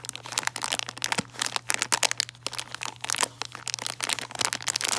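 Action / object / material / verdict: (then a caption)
scrape / plastic bag of foil-wrapped chocolates / plastic / none. A printed plastic bag of about 142 g, filled with foil-wrapped and bare milk chocolate Santas, is crinkled, scratched and tapped with long dark-painted nails and fingertips. Dense, bright crinkling and crackling comes in quick sharp bursts with short scratchy pauses, over a faint steady low hum. Each tap and crackle stops almost instantly, with no ring.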